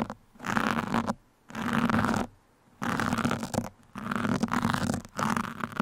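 Pin tips are poked into and scratched across a black foam microphone windscreen, making five bursts of dense, crackly scratching separated by short silences. Each burst has a bright rustling texture over a faint low tone.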